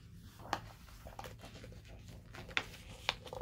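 A flat hand rubs across a glossy paper page of a large open hardcover book, then fingertips lift and turn the page. Soft, steady rustling and brushing is broken by a few sharp, bright paper crackles as the page flips.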